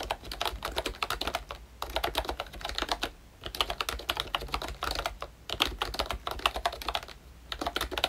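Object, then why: Plastic membrane keyboard with round keycaps. Fingertips type on a full-size ROYCHE Disney Mickey Mouse retro membrane keyboard with a hollow pink plastic case and round black plastic keycaps. Quick, bright plastic clacks come in bursts separated by short pauses, each press dying away almost at once with little low end.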